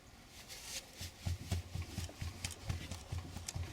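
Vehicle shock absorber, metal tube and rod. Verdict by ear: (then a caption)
Worn. A worn shock absorber from the front suspension of a GAZ Gazelle van is worked by hand, and its metal outer tube and inner rod knock against each other. The result is a series of dull, low thuds with short, bright rattling edges. This faulty internal knock is often mistaken for worn kingpins, and replacing the kingpins did not cure it.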